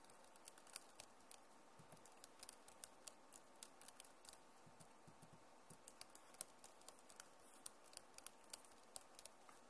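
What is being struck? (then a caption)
Plastic laptop keyboard keys. Both hands type on a backlit Acer laptop keyboard with plastic keys and scratch the keys with their nails. A steady run of light, bright clicky taps and soft scratching plays over a quiet, low hiss. Each tap dies away almost instantly.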